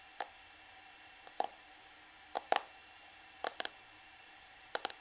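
A small, flat, black plastic Revlon PhotoReady powder compact with a hollow case is held in the hands and tapped and scratched with long manicured nails on its surface and edges. The result is sharp, dry plastic clicks that die away almost instantly, often in quick pairs, with a hollow tone around 740 Hz and bright upper edges. They are spread irregularly over near silence.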